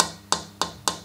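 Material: Pau ferro wood.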